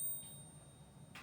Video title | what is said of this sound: Stack Stick - Coin Ping Test | it's going to have a much more voluminous and just all around beautiful sound to it